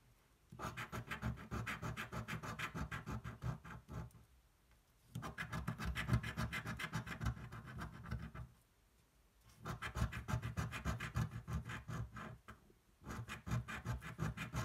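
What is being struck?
Paper scratch-off ticket scraped with a coin.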